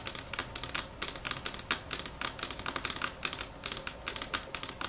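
Long acrylic nails tap the edge of a large, solid, polished granite or marble countertop, making about thirty sharp, bright clicks that stop short with almost no ring. The taps come in quick bursts and slower single strikes at varying strength, over a faint steady hiss.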